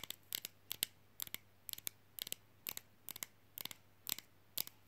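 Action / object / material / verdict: tap / small flat rigid plastic fridge magnet / plastic / none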